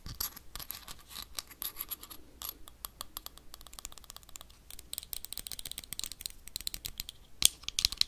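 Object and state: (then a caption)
Small glass jar. Metal paperclips rapidly scratch and tap the wall of a small, clear, empty glass jar with a black lid. Dense, crisp clicks and scraping ticks sit almost entirely in the high, bright range with very little low end. Each tap dies almost instantly, and one sharper, louder tap stands out near the end.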